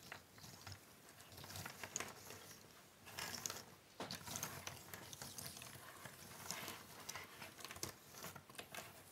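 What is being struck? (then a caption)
Pile of thin cardboard puzzle pieces on a wooden table. Flat hands with long nails rub and spread a large pile of small, thin cardboard jigsaw puzzle pieces across a wooden table. The result is a soft, continuous, bright shuffling and rustling, with quick dry clicks and scrapes as the pieces slide against each other, rising in a few louder surges.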